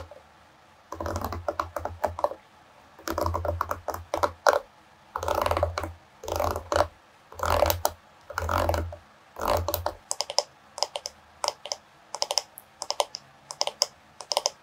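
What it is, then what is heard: Wooden hairbrush with wooden pins. Long pink nails flick and scratch the wooden bristle pins of a solid oval bamboo/wood paddle hairbrush lying on a fur rug, and tap its wooden back. Quick bursts of dry, clicky rattling come in clusters with a low thump under them, centred around 580 Hz with a bright edge. These give way after about ten seconds to sparser, sharp taps that die away almost instantly.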